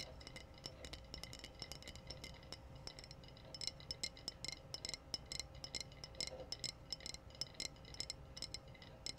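Long nails tap the body of a clear, empty-looking glass wine bottle with a red foil capsule, held in both hands. The result is a rapid, irregular series of bright, short glassy clicks and tinks that die away almost instantly, over a faint low background hum.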